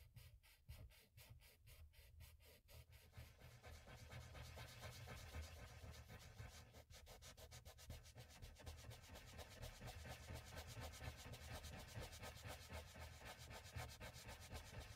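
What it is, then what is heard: Oil pastel rubbed on paper. A cotton swab on a paper stick, held in the fingertips, rubs small circles over oil pastel on a flat sheet of mixed media paper resting on a pad, blending the pastel. A soft, steady scrubbing repeats at about four strokes per second, with a low rumble under a brighter papery hiss that grows a little fuller after the first few seconds.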